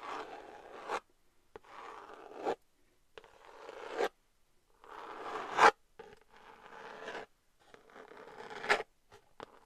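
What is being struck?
Glitter cardboard eyeshadow palette.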